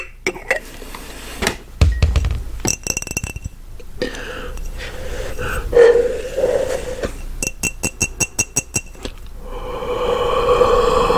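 An empty, medium-sized clear glass mason jar, hollow and held in one hand, is tapped with the fingernails and fingertips of the other hand. Bright clinks and sharp ticks come in irregular bursts, with a faster run of evenly spaced taps near the end. A soft ringing tone hums underneath, swelling at times, and each tap rings out only briefly.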